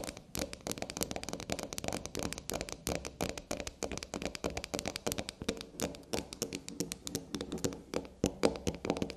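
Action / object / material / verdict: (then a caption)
tap / bar of black soap / soap / none. Long black nails tap rapidly on the top and edges of a small solid black soap bar standing on a table. A dense stream of short, dry clicks rises and falls in quick clusters, each tap dying away almost at once. Their bright edges sit over a soft hollow tone in the mids.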